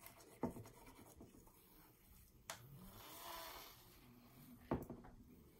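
Long nails scratch along the textured surface of a red mandala stretched canvas wall art print hanging on a wall. The result is a soft, dry rasping rub, with three sharp, brief ticks standing out and a brighter hiss swelling in the middle.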